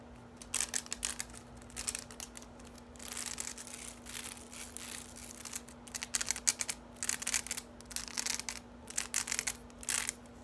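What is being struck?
Plastic spiked dish drying rack.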